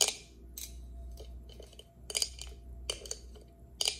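Long acrylic nails tap and scratch the clear plastic lid of an insulated tumbler held in the hand, with water drops visible under the lid. About seven sharp, bright clicks ring out with very short decay, separated by quiet stretches with faint scratching over a low hum.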